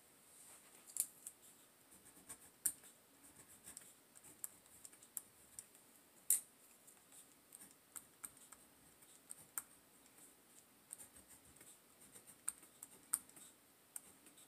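A hand with long nails writes small text with a pen along the edge of a page in an open paper notebook, scratching on the paper. The quiet, bright scratching comes as a string of short, sharp ticks and strokes at an uneven pace, with very little low end and almost no ring after each one.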